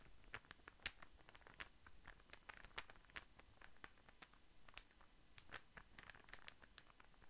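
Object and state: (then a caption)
Wooden star burr puzzle. A small, light-coloured, star-shaped interlocking wooden burr puzzle is held in one hand and tapped and scratched with the fingertips and nails of the other. The result is a quiet, steady patter of short, dry clicks centred near 1.8 kHz with bright edges. A soft scratching texture runs between the taps, and each tap dies away almost at once.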